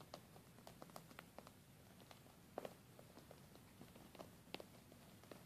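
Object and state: Glitter fabric makeup pouch.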